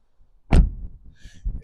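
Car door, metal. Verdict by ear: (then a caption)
Solid. The rear door of a 2012 Skoda Superb is closed once, giving a single deep, solid thump at about half a second that fades quickly, with a few softer low knocks after it. The door sounds solid and well built rather than tinny.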